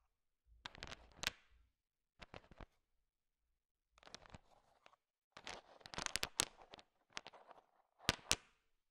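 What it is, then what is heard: Candy-coated chocolates stirred in a pile. A large pile of small, solid, sugar-shell-coated chocolate M&Ms is stirred with a thin wooden stick. The candies click and rattle against each other in several short bursts of bright, crisp ticks separated by silences.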